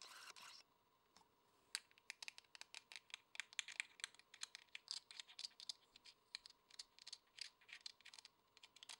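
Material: Plastic.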